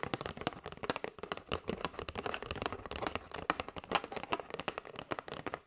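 Long white nails tap rapidly and irregularly on the front and edges of a flat kraft cardboard box with a clear window, full of paper straws and held in both hands. The taps are dry and crisp with a papery, hollow click centered in the mids, each stopping almost instantly with no ring. They come as a steady stream of quick clusters for several seconds.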